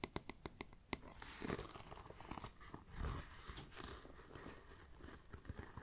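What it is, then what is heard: Faux leather backpack being scratched. Fingernails scratch the grained surface and striped webbing strip of a small, hollow black pebbled faux leather backpack. Several sharp, quick taps open the clip, followed by a continuous dry, rasping scratch with crinkly crunches.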